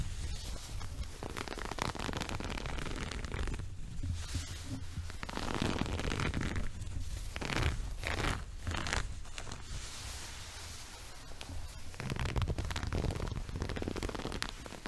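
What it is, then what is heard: Woven fabric rug. Fingertips and nails of both hands scratch and rub the coarse weave of a multicolored woven textile rug held upright. Continuous dry scratching and rustling swells in bright bursts over a steady low rumble, with brief pauses between rubbing strokes.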